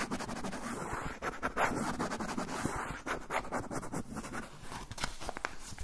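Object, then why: Kraft paper pouch. A brown kraft paper pouch is held upright while fingernails scratch along its edge and surface. The result is dense, rapid, crackly scratching with a dry papery rustle, running nearly continuously with brief dips in intensity.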